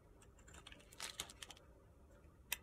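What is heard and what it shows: A utility-knife blade shaves the edge of a solid pale pink soap bar held in the hand as it is carved down. Quiet, bright, crisp scraping clicks come in a cluster in the middle, followed by a lull and one sharp final snap near the end.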